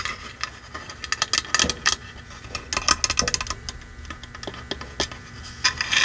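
Long manicured nails of both hands scratch along the face and edges of a red painted wooden block sign, giving a dry, raspy scratching. Quick, bright, clustered strokes sit mostly in the high frequencies, with almost no low end and no lingering ring.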